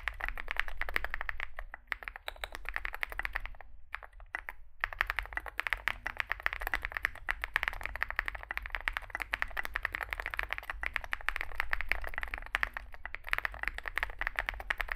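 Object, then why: Mechanical keyboard with plastic keycaps. Fingertips type continuously on a small Zoom65 mechanical keyboard with a 65% layout, a dark case and white and grey SA plastic keycaps. Rapid, sharp, clacky keystrokes with a bright midrange tone follow one another closely, dying away almost instantly. There are brief lulls near two and four seconds, and a steady low hum sits underneath.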